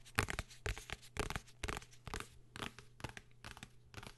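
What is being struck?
Hardcover book, cardboard and paper.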